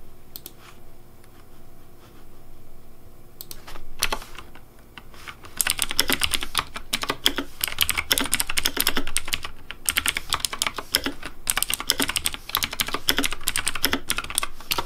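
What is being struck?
Plastic mechanical keyboard with plastic keycaps.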